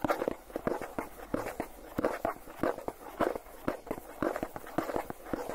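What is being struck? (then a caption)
Plastic tub with lid. Fingertips and nails tap rapidly on the lid of a hollow Philadelphia plastic cream cheese tub with its lid on. The result is a quick, uneven patter of short, dry clicks with a hollow plastic tone centered around 500 Hz. Each tap dies away almost instantly.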